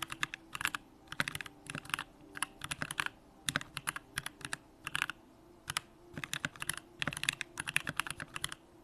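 A compact Bakeneko65 mechanical keyboard with an aluminum case, Durock lavender switches and pink plastic keycaps is typed on continuously with the fingertips of both hands. It gives quick, bright clacks in uneven bursts, each tap dying away almost instantly, with little low end and short quiet gaps between runs.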